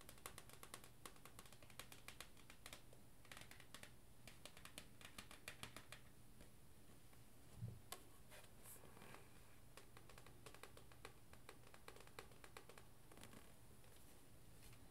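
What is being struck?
Paperback book with card cover.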